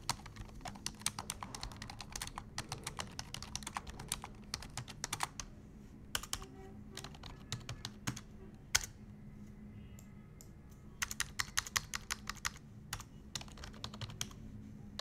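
A full-size black plastic desktop keyboard on an office desk is typed on with the fingertips of both hands. Rapid, bright, dry key clicks come in bursts, with a quieter pause in the middle before the typing picks up again. A steady low hum runs underneath throughout.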